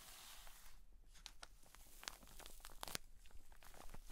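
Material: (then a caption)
Plastic. Long decorated nails scratch and tap across a large soft pack of pleated cotton wool sealed in a clear plastic drawstring bag, lying flat on a table. The sound is quiet, crinkly plastic scratching with short, bright ticks and taps that stop dead. A low, steady hum sits underneath.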